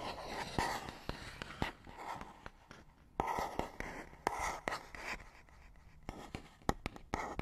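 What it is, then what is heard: Cardboard box. A fingernail scratches a small, hollow, printed paperboard box, making dry, papery rasps punctuated by many sharp, quick clicks. The scratching comes in short bursts with a hollow mid-range tone around 800 Hz and a bright papery edge on top. Each click stops almost instantly, leaving no ring.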